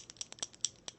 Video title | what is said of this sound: Nails Over Coffee July 11, 2016 | you can hear the ball shakin it's fairly thin